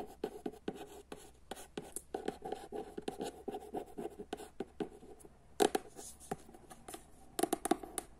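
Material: Paper.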